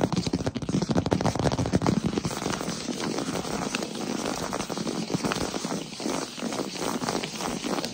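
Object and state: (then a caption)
Wooden floor. Fingertips tap rapidly on a large solid wood-plank floor, making a quick, dense patter of short, dry knocks with a warm low-mid body and almost no ring. The tapping is loudest over the first two seconds, then continues at a slightly softer, steady level.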